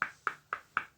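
A thin cast epoxy resin base is tapped four times after demolding, each tap a short, bright, glass-like click centered around 1.3 kHz that dies away quickly. The resin is rock solid and fully cured hard despite being thin.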